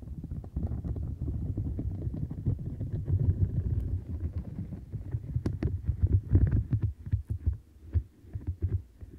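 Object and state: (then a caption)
Silicone bristle mat. Fingertips and long nails scratch and pluck the bristles along the sides of a light-blue domed silicone mat with a bristled edge and bumpy center. The result is a dense, muffled, low rumbling texture centered around 90 Hz, with short dry plucks flicking through. The sound swells loudest around six seconds, then thins into sparser scratches toward the end.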